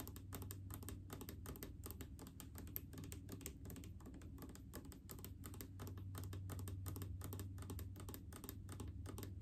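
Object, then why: Plastic bottle filled with liquid. Long painted fingernails rapidly tap a large blue plastic mouthwash bottle full of liquid. The result is a quiet, fast, uneven stream of short, dry clicks with bright ticking edges, over a steady low hum.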